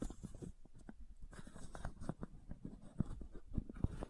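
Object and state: Plastic bottle cap.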